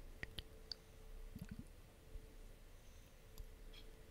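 Long nails tap and click on a clear glass facial ice globe, a hollow roller with a long handle and a pink liquid-filled ball. About six sharp, quiet clicks ring high and bright and die away instantly over a soft low background hum, with a few faint, dull knocks in between.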